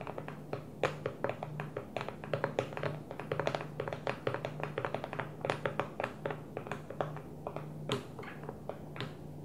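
Long manicured nails tap quickly and lightly on the top of an empty, hollow clear plastic food storage container that sits upside down on its blue lid. The many short clicks carry a hollow plastic tone near 520 Hz and die away almost at once, over a faint steady low hum.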